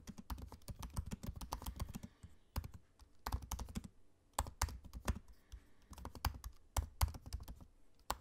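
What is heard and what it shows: Fingertips of both hands type on the low-profile black plastic keys of a space-grey aluminium laptop. Quick, soft, dull clicks come in rapid bursts separated by brief pauses, each tap short and thuddy with almost no ring.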